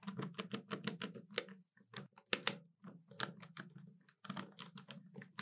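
Long nails tap the keys of a hollow black plastic desktop calculator, sometimes with two index fingers and sometimes with all fingers. The result is quick, dry, bright clicks in uneven bursts with short pauses, each tap stopping almost at once over a low hollow body tone.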